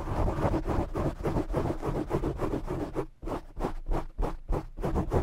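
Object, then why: Foam microphone windscreen. Both hands grip a black foam microphone windscreen and scratch it with short fingernails. The result is rapid, uneven bursts of dense, muffled scratching, heavy in low rumble with little high content. The scratches run almost continuously at first, then break into sharper separate strokes.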